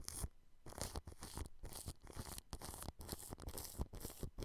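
Clear plastic cling film wrapped over a microphone grille is brushed, first with a small orange-handled paintbrush and then with a larger blue-bristled brush. Repeated short strokes produce crinkly, tearing-like rustles with bright hiss and low, close thumps, separated by brief quiet gaps.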